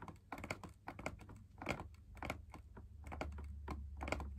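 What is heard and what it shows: Fingertips tap and scratch the wall of a hollow, perforated, fabric-laminated drum lamp shade, heard from inside the shade. Quick, irregular, soft taps with dull thumps and bright papery scratches sit over a steady low hum.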